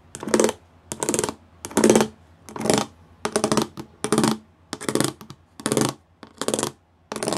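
Fingertips and nails tap quickly across a flat grey plastic panel covered in rows of small raised square pyramid studs. The tapping comes in short, evenly spaced bursts of dense, rattling clicks with bright, crisp highs over a low hollow tone. Each burst dies away quickly into near silence before the next.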